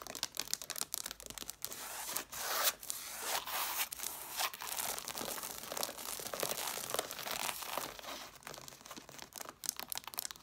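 Long dark nails scratch the cover edges and paper page edges at the corner of a stack of red cloth hardcover books. A dense run of quick, dry, papery rasps and crackles fills the clip, bright and hissy with almost no low end, with short louder strokes that sound almost like tearing.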